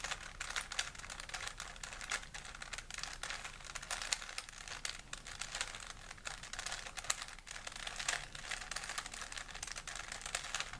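A small, solid plastic 3x3 Rubik's cube is held in both hands while the fingertips twist its layers. Rapid, bright plastic clicks and clacks run steadily throughout, with little low end.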